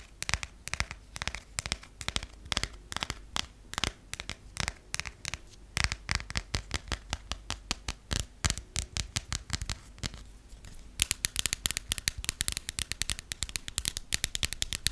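Long painted acrylic and natural nails tap and scratch the textured cover of a closed passport held in the hands, with a thin flexible cover over paper pages. Rapid, sharp, dry clicks and scratches with almost no ring run throughout, becoming brighter and denser in the last few seconds.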